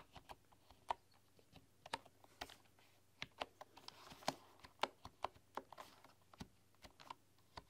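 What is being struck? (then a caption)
Bamboo computer keyboard with wooden keys. Fast typing with fingertips and long nails on a full-size bamboo keyboard with wooden keys produces a rapid run of short, dry, clicky taps. The taps have a woody ring centered near 900 Hz and bright edges, over a faint steady low hum.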